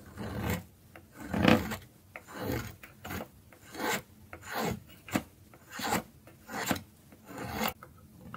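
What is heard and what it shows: A dark metal blade shaves and scrapes a solid orange piece of dry soap held between fingers, dropping curls onto a pile of shavings. Ten short, dry rasping strokes are heard, each a soft crackly scrape with a brief crisp edge and little ring.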